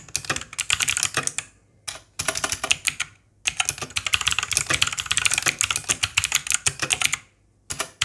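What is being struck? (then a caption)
Plastic mechanical keyboard. Both hands type continuously with their fingertips on a white Langtu G1000 60% mechanical keyboard with plastic keycaps and RGB backlight, lying on a green surface. Rapid, bright, clacky keystrokes come in bursts separated by brief pauses, with very little low end. Each click dies away almost instantly.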